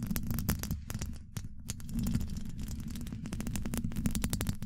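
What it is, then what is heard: Metal microphone grille scratched and tapped. Long acrylic nails on both hands scratch and tap across the hollow domed steel mesh grille of a large condenser microphone. The result is a dense, continuous stream of rapid clicks and scrapes over a heavy, boomy, throbbing low end, with brief bright flicks at the nail contacts.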